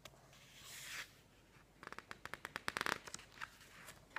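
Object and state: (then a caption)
Glossy paper magazine. Fingertips turn, slide over and press the pages of a thick, open glossy paper magazine resting on a wooden table. A soft, airy swish of a page sweeping over comes first, then a quick run of crisp, bright crackles and taps as the glossy paper is pressed and handled. A last faint rustle and snap close the clip.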